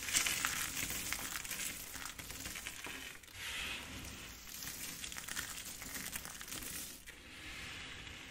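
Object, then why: Pile of soap chips. Fingers with long pink acrylic nails scoop, squeeze and crush handfuls from a large loose pile of dry, brittle, multicolored soap shavings and flakes in pink, blue, green and beige, rubbing the chips together. The result is a dense, bright crinkling and crunching that swells and eases in waves, with sharper crackles standing out.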